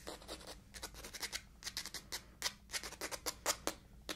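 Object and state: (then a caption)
Cloth-bound hardcover book. Long white acrylic nails scratch and tap the textured cloth front cover of a mustard-yellow hardcover book, *Sweet Danger*, whose stiff boards are held upright in one hand. The result is a quick series of dry, bright, scratchy strokes that die away almost instantly, with little low end beneath them.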